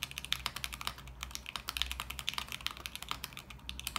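Both hands type continuously with their fingertips on a small 40% mechanical keyboard with beige plastic keycaps in a lit clear acrylic case. About 32 short, bright, clacky keystrokes stop almost instantly, over a faint steady low hum.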